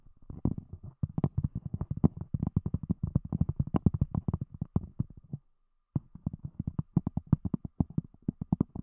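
Long fingernails of both hands tap rapidly on a round, thick, solid cork disc covering a microphone. The result is dense, dull, low thuds with a faint click on top, broken by a short silence around five and a half seconds before the tapping resumes.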